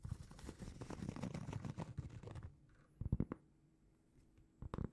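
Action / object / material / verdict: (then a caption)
scrape / round cork trivet / cork / none. A large, flat, solid round cork trivet is held in both hands and scratched with long painted fingernails. The result is a dense, low, muffled scratching for about two and a half seconds. It is followed by quieter pauses broken by short bursts of scratching.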